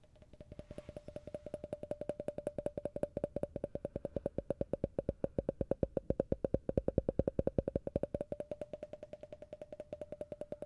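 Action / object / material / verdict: tap / faceted glass tumbler / glass / none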